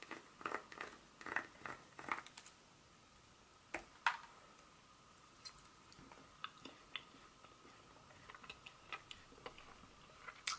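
Long pointed nails tap and scratch the segments of a solid, segmented dark chocolate bar held in a hand. The result is a quiet, irregular series of sharp, dry clicks and brief scrapes with very short decay and a bright, crisp edge. A faint steady tone sits around 1 kHz beneath them.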